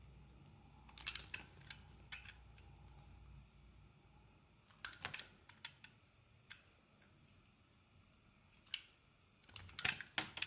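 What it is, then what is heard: Bar of soap being shaved with a blade. A steel utility blade scrapes and shaves slices from a solid yellow bar of soap held in the hand. Short, bright, crisp scratching bursts come in irregular clusters separated by quiet pauses, over a faint low hum in the first few seconds.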